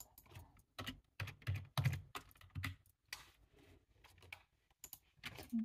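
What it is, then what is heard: Plastic computer keyboard being typed on. Fast two-handed fingertip typing on a black low-profile plastic computer keyboard with a hollow body, resting on a table. Irregular bursts of quick key taps land at an uneven pace, each a short, dry, hollow thud with a low body and a light, brief click on top.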